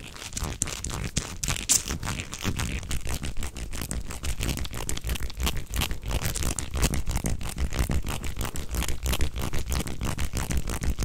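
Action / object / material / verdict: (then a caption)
scrape / flexible corrugated plastic tube / plastic / none. A beige, hollow, flexible corrugated plastic tube is bent into a loop and flexed close to the microphone while hands squeeze and rub its ridges. The result is a dense, steady stream of crackling, crunchy clicks over a heavy low thump, with bright ticking on top throughout.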